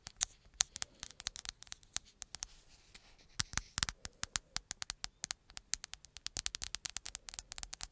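Long nails tap and scratch the flat glass-and-plastic surface of a black smartphone held behind the mic. About 46 quick, crisp, bright clicks come in irregular bursts, each dying away almost instantly, with faint soft scratching between them. The sound is quiet and light, with almost no low end.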